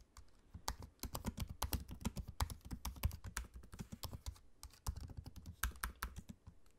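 Fingertips type quickly on a MacBook-style laptop keyboard with low-profile plastic keycaps set in a space-grey aluminium body. A steady run of short, dull taps is heard, weighted toward low thuds with faint bright clicks on top. Each keystroke dies away almost instantly, with brief pauses between bursts.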